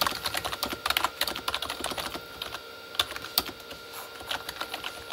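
Both hands type quickly with their fingertips on a full-size Corsair K35 plastic membrane keyboard with red backlit keys. A dense run of short, bright plastic clacks dies away almost instantly, eases off briefly around the middle, then picks up again over a faint steady hum.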